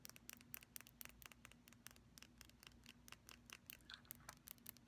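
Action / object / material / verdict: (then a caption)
tap / small glass nail polish bottle with plastic cap / glass / none. A small, apparently full purple glass nail polish bottle with a glossy black plastic cap and a silver band is tapped and scratched by long pastel nails on the glass and the cap. Quick, bright, dry clicks and ticks come in a fast, uneven stream with no ring after each one. A faint steady low hum sits underneath.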